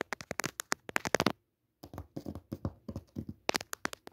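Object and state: Cotton cutwork tablecloth tapped and scratched.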